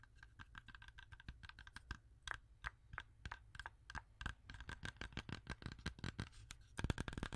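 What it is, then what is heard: Apple tapped with fingernails. A whole, fresh red-yellow apple held in one hand is tapped and scratched rapidly with long orange acrylic nails. The quiet, irregular stream of short, dry taps pairs a dull low thump with a bright click, over a faint steady hum. The taps grow denser and louder near the end.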